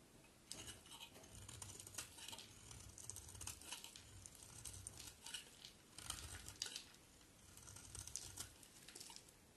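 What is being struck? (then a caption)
Bar of soap cut with a blade. A box cutter blade carves along the edge of a solid white oval bar of soap in scraping strokes. Quiet, bright, crisp shaving and scratching bursts repeat steadily over a faint low rumble, each stroke dying away quickly.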